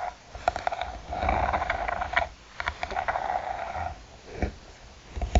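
Long nails tap and scratch the textured covering and edge of a closed, hollow hard eyeglasses case. Sharp, quick taps mix with longer raspy scratching passages, which carry a hollow midrange tone over a soft low rumble.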